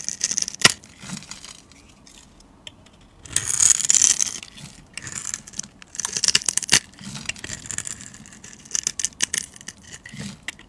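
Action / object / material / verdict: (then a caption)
scrape / glycerin soap bar / glycerin soap / none. A utility knife blade scrapes across a hand-held, solid, translucent orange glycerin soap bar with a grid-scored surface, cutting off cubed pieces and shavings. Bright, crisp scraping and crackling comes in short bursts, with denser, louder stretches near the middle and scattered sharp ticks between them.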